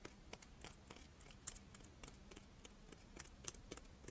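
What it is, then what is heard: Chocolate monaka wafer. A crisp rice-wafer chocolate monaka, held in both hands, is scratched and tapped with long painted nails. The result is quiet, dry, crackly scratching broken by sharp, bright clicks that stop almost instantly, over a faint low hum.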